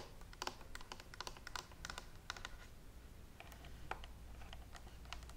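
Long nails tap quickly across the shell and handle of a handheld green and white plastic steam iron with a hollow body and water tank. The result is a rapid run of light, dry clicks with bright edges and almost no ring, over a steady low hum.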